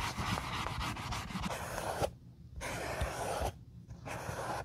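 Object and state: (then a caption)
Leather sandal being rubbed with a dye dauber. A wool dauber rubs dye over the vamp straps and near the sole of an empty brown leather Josef Seibel sandal. It makes a steady, breathy, broadband scrubbing hiss with a low soft thump underneath. The rubbing pauses twice into near silence before resuming.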